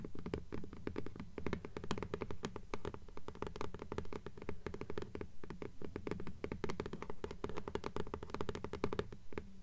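Long polished nails tap rapidly on the front cover of an upright hardcover "Fairies" book with a paper dust jacket. A dense, uneven stream of quick taps produces soft, low, hollow thuds, each with a crisp clicky edge, that die away almost at once.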